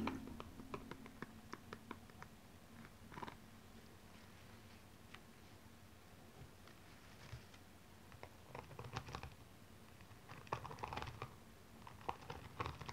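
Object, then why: Rhinestone-covered high heel shoe. A single blue rhinestone-covered stiletto high heel is handled, turned and laid on its side while long nails tap and scratch its rhinestone upper. Quiet, sharp clicks and scratchy ticks come in scattered bursts, separated by a long, near-silent stretch over a faint low hum.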